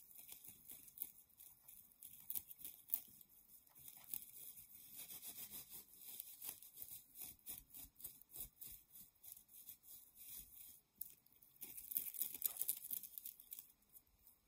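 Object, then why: Nylon mesh bath pouf. A yellow-white nylon mesh shower pouf, held in both hands, is scratched and rubbed with long nails. It makes quiet, bright, dense crackling and scratching, with quick rustling bursts that grow louder for a stretch near the end.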